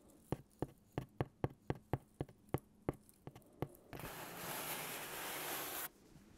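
Fingernails scratch and rub the printed surface of a large white cardboard pizza box held diagonally, making a quick series of short, dry taps and scrapes like writing. These give way to about two seconds of steady, bright rubbing hiss that cuts off abruptly.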